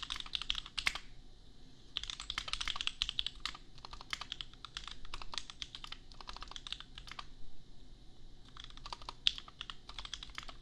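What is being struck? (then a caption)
Plastic mechanical keyboard. A $250 custom 60% mechanical keyboard with Gateron Milky Yellow switches and red and white plastic keycaps, resting on an anime desk mat, is typed on with the bare fingertips of both hands. Quick bursts of bright, short plastic clacks, centered around 3.4 kHz, come in runs separated by brief pauses. Each keystroke dies away almost instantly over a faint low background hum.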